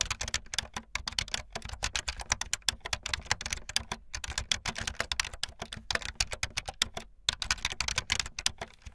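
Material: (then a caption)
Plastic. Fast typing on a full-size backlit plastic Bluetooth membrane keyboard with white and blue plastic keycaps and a hollow plastic body, the keys pressed with fingertips and the tips of long painted nails. A rapid, uneven stream of short, bright, dry plastic clicks and taps with no ring, over a faint steady low hum.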